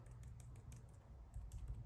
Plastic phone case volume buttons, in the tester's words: lightly tapping on them you can hear that it is rattling